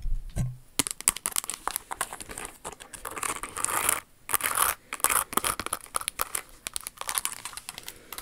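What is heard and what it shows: Long acrylic nails scratch and tap across the rhinestones and inner sole of a silver crystal-studded stiletto pump with a crystal flower toe. The sound is a dense run of quick, bright clicks and crinkly scratching, with a few short pauses and a low thump near the start.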